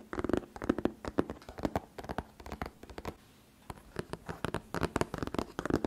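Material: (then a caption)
Cardboard. Fingertips and medium painted nails tap and scratch the front face of a closed, medium-size printed cardboard Kinetic Sand retail box lying flat on a fluffy rug with the sand inside. Dense, quick, dry taps and scratches come in clusters with almost no ring, pausing briefly near the middle before resuming.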